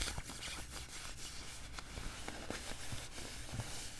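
Fingers pinch, rub and scratch the sleeve cuff of a worn beige quilted nylon puffer jacket. The result is a steady, soft rustling and crinkling with faint bright scratchy hiss over a low, muffled rumble, with small swishes scattered throughout.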